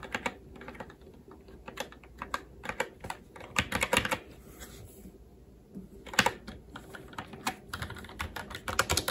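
Both hands' fingertips type on a SteelSeries Apex 7 TKL mechanical keyboard with red linear switches, plastic keycaps and a metal top plate. The result is a steady stream of short, sharp clacks with a bright click and a low thock. Bursts of quicker keystrokes are broken by brief pauses.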